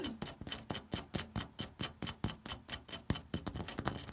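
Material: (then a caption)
Terracotta. Fingertips and short nails scratch and tap across the orange ribbed surface of a corrugated terracotta clay roof tile marked with blue paint. A quick, fairly irregular series of dry, crisp clicks and scrapes follows, about two per second, each with bright, high hiss and a low thud and almost no ring.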